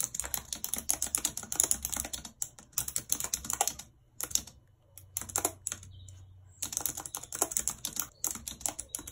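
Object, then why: Plastic computer keyboard. Long red acrylic nails type rapidly on a white low-profile plastic wireless keyboard with a full number pad and hollow housing, lying flat on a map-printed surface. The keys give dense runs of bright, sharp clicks that stop almost instantly, broken by short pauses near the middle before the fast clicking resumes.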